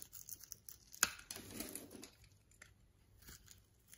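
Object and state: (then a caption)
Bar soap shaved with a blade. A utility knife blade scrapes and shaves the surface of a solid orange and white striped bar of soap held in the palm. It makes quiet, bright scratching and crinkly rasps, with a sharp click near the one-second mark, followed by a longer, fuller shaving stroke and then softer, intermittent scrapes.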